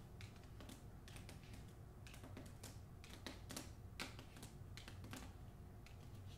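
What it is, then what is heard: Hardcover book with paper dust jacket. Long nails tap the spine and then the front cover of a hardcover novel's glossy paper dust jacket. Quick, light clicks sound in irregular bursts, bright and crisp over a low, steady hum.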